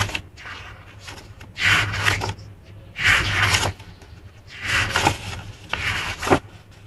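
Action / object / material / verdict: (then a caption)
scrape / paper journal pages / paper / none. A small handmade paper journal with printed vintage pages is held in both hands while long painted nails and fingertips flip and rub the paper pages. Four separate bursts of bright, papery rustling and scraping rise over a quiet background with a faint low hum between them.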